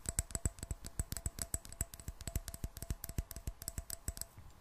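Fingernails tap rapidly on a clear glass jar partly filled with water and closed with a metal screw lid. The quick, slightly uneven taps sound as short, sharp clicks with a bright edge and a soft low thump, while a faint steady ring lingers underneath throughout.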